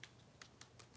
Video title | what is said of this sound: I’m live | this is like way more solid this doll